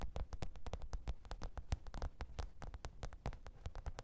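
Long pointed nails rapidly tap and scratch the top of a black textured faux-leather hard-shell microphone case with a zipper, lying flat on fur. The result is a quick, irregular run of dull, low thuds, each with a brief bright click and no ring. Faint scratchy noise fills the gaps between taps.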